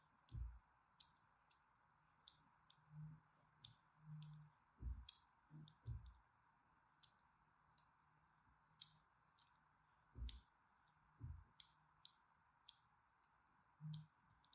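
A thin, needle-like blade scores repeated parallel lines across a solid purple-and-white striped bar of soap held in the hand. The result is a quiet series of short, crisp clicks and bright scratchy ticks, some with soft low thumps, separated by near silence.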